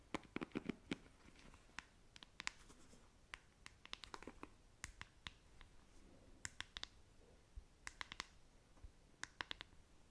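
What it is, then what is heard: Plastic paddle hairbrush. Long nails scratch the plastic bristle cushion and tap the smooth back of a hand-sized, hollow-backed black plastic paddle hairbrush with a silver-tipped handle. Quiet, dry scratching runs underneath a steady scatter of sharp, bright clicky taps that stop instantly with no ring.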